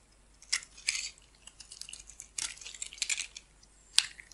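A metal blade shaves and cuts green flakes from the surface of a solid, hand-sized oval green bar of soap held in the palm, with the shavings collecting around it. Crisp, bright scraping and crunching cuts come in short bursts, with a sharp snap near the end, and almost no low end.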